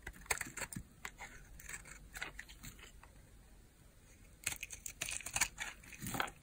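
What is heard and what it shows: A small solid cream bar of hard soap, held in the palm, is shaved with a utility knife blade, and the flakes pile up on the blade. Quiet, dry, crisp scraping and crinkly crunching come in quick, bright bursts. There is a soft lull in the middle, then denser, louder shaving toward the end.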